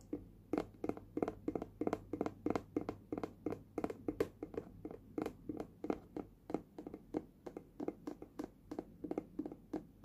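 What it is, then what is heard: Hollow plastic lunch box. Fingers tap from below on a small, hollow, red hard plastic lunch box with a printed lid, held up in the air. About forty quick, unevenly spaced taps land as dull, hollow knocks with a mid-low body. Each dies away almost instantly, over a faint low hum.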